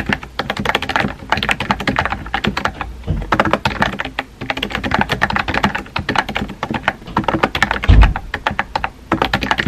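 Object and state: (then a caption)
Plastic mechanical keyboard. Fingertips with painted nails type rapidly on a compact pink plastic mechanical keyboard with round white-and-pink typewriter-style keycaps and a hollow body, resting on a desk. Quick bursts of short, hollow clacks with a low, thocky body run in steady streams, separated by brief pauses. A heavier thunk stands out near the end.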